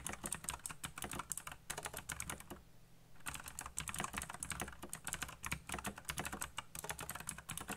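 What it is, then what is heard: Plastic mechanical keyboard being typed on. Fingertips type fast on a backlit black plastic mechanical keyboard with RGB lighting and hollow key switches. The rapid, bright, clacky key taps come with a low hollow thock beneath them. The typing stops briefly in the middle of the clip, then resumes at the same quick pace.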